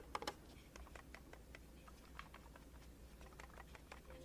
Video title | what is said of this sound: Logitech M185 Wireless Mouse, 2 4GHz with USB Mini Receiver, 12 Month Battery Life, 1000 DPI Optical | there's nothing too rattly or wobbly around it